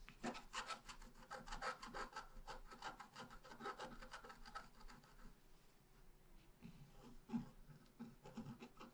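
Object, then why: Black-coated scratch paper and wooden stylus. A pointed wooden stylus scratches along the bottom edge of a thin sheet of black-coated scratch art paper lying flat. Quick, irregular dry rasping strokes repeat throughout, with a papery mid-range texture and a soft low thump under some strokes. The level stays quiet overall, and each stroke stops dry with almost no ring.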